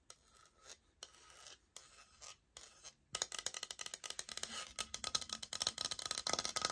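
A flat brown laminate flooring sample plank, about 30 cm long, is held upright in both hands while long acrylic nails scratch and tap its face. Soft, separated scratching strokes with brief pauses open the clip. Then a louder, dense run of quick, bright, dry taps and rasping scratches continues to the end.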